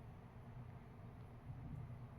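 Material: Nothing is struck.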